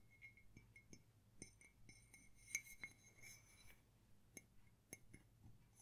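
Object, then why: Ceramic mug. A small, empty white ceramic coffee mug with a printed label, held in both hands, is tapped with fingertips and fingernails. The result is a series of quiet, clicky clinks with a bright ring near 2.2 kHz that dies away almost at once.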